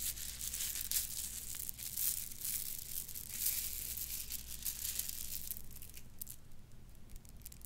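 A bundle of purple plastic bead necklaces is dangled, shaken and rolled between the fingers. It makes a dense, bright clicking and rattling with a crinkly, tearing-like texture over a steady low hum. The sound fades slightly toward the end.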